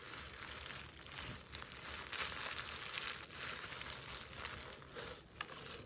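Long nails scratch and rub the woven jute surface of a burlap Christmas stocking near its plaid trim while it is held up. The result is a steady, dry, bright scratching rustle with crinkly, tearing-like texture and very little low end.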